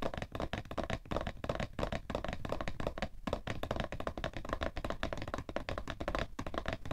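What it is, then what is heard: Cardboard tissue box. Fingertips tap and flat hands pat rapidly on the top of a cardboard tissue box. The hits are short, dull and dry, weighted toward the low end, with a faint hollow tone near 590 Hz. They die away almost instantly, and the level rises and falls with the pace.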